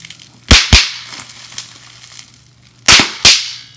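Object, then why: Plastic bubble wrap sheet. A clear plastic bubble wrap sheet with large air bubbles, held in both hands, is crushed by fingertips and nails. Four sharp, bright pops stand out in two pairs, with soft plastic crinkling and faint tapping between them.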